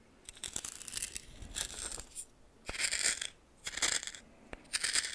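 A red plastic spoon scrapes and stirs dry coarse white salt in a small greenish metal bowl. The result is repeated bursts of bright, gritty crunching and scratching, broken by a few sharp clicks and short pauses.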